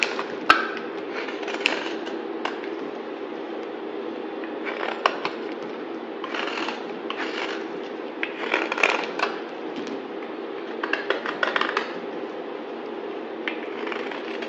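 A solid yellow bar of soap held in the hand is shaved with a utility knife blade, cutting and scraping. Soft, dry scraping bursts and small crisp clicks sit over a steady low-mid hum, with the brighter shaving strokes rising into the high range.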